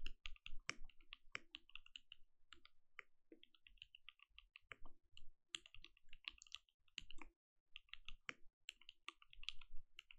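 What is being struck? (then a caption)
Mechanical keyboard with plastic keycaps. Both hands type with their fingertips on a compact mechanical keyboard with plastic keycaps and a lit, translucent case. The keys give a rapid, uneven stream of short, crisp clacks with a soft low thud under each press and a bright click on top. Brief pauses separate the bursts of typing.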